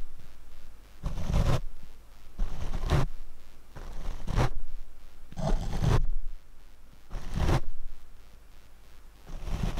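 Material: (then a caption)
Foam. A paint brush is swept across the black foam windscreen of a Rode microphone, making repeated soft, rumbling swishes with a heavy low-end thump. The strokes come in slow, uneven bursts, swelling and fading with brief quiet gaps between them.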